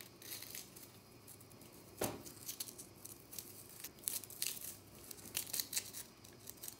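Long nails scratch and flick at a small, solid, round pink-and-white compressed powder bath bomb, knocking crumbs loose. The sound is a quiet series of bright, dry scratches and crackles. One sharper, fuller scrape comes near the two-second mark, and more clustered bursts follow later.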